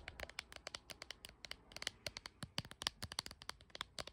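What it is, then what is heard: Hard plastic phone case. Long nails rapidly tap and scratch the back of a hard plastic phone case with a dragon print on a blue iPhone held in the hand, with the phone itself doing the recording. A quick, dense run of sharp, bright clicks with short scratchy rasps between them, each tap dying away almost instantly.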